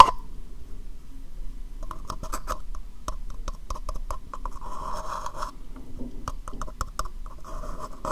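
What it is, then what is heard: Plastic cup. A small, hollow, empty dark brown plastic cup is held upside down in one hand while the long nails of the other hand tap and scratch its base and sides. Quick, dry clicks with a hollow ring around 1 kHz are broken up by short bursts of brighter scratching. Everything stays quiet and close over a soft low rumble.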